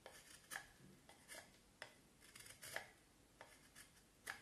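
A knife blade shaves and scrapes the rounded end of a solid vine wood stick held in the hand. Short, dry, bright scraping strokes come at uneven intervals with quiet gaps between them. Each stroke stops quickly with almost no ring.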